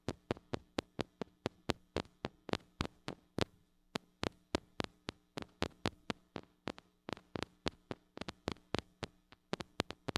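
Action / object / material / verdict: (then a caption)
tap / small metal microphone with mesh grille / metal / none. A small gold-colored mini microphone with a metal mesh grille, metal body and hollow head is held in one hand and tapped on the grille with long acrylic nails. About 42 quick, sharp clicking taps come in a steady, uneven rhythm over ten seconds, each dying away almost instantly, with a faint low hum underneath. The taps are quiet, dry and bright-edged.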